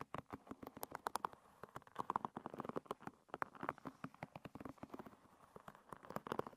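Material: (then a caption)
Wood. Long red nails flick and scratch the tips of a hairbrush's many thin wooden pins, giving a quick, uneven run of short, dry ticks and clicks. The ticks have a light, woody tone centred around 1 kHz, stay quiet overall, and stop dead with no ring after each one.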